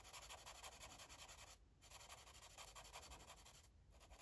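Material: Paper.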